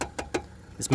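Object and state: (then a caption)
Metal car body panel. Five knuckle knocks on a metal body panel near the front wheel of a 2019 Aston Martin V8 Vantage, contrasting it with a nearby fiber panel. Each knock is short and dull with almost no ring, and the panel sounds solidly metal.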